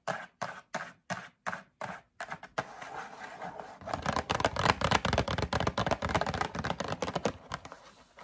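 Long acrylic nails tap a closed, medium-sized printed cardboard Breakfast Essentials drink-mix box, likely full of packets, that is held in the hand. About eight separate, crisp, dry taps come first, each with a short gap. Then the tapping turns into a rapid, dense, uneven flurry that grows louder and fuller in the lows about halfway through.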